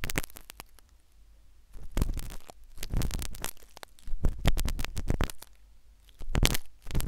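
A metal syringe needle scrapes inside the ear canal of a solid, white, soft silicone ear replica on a binaural microphone. Bursts of close, crackling scratches and rubbing come and go, with a deep, heavy low rumble beneath them and quiet gaps in between.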